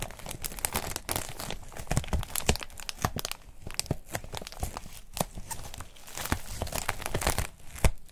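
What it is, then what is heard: Foam wrap sheet being crinkled. A thin, white, textured foam wrap sheet folded around a hidden item is squeezed and crinkled with the fingertips of both hands. A dense run of soft crackles, crunches and tearing-like rustles rises and falls over the whole stretch, with a few sharper pops.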